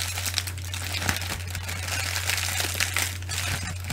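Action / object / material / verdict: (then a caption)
scrape / plastic bubble wrap / plastic / none. Clear, air-filled plastic bubble wrap is crinkled and scratched by fingertips and long nails, with both hands used at the end. Dense, bright crackling and rustling with small sharp ticks runs throughout, over a steady low hum.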